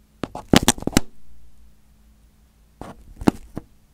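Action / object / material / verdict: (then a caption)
tap / crumpled aluminium foil over a microphone head / aluminium foil / none. A fingertip pokes, presses and crinkles crumpled aluminium foil covering a hand-sized, hollow microphone head on a teal base. A fast cluster of sharp, bright crackles and thumpy pops is followed by a quiet pause with a faint low hum. Another few scattered crinkles and taps end the clip.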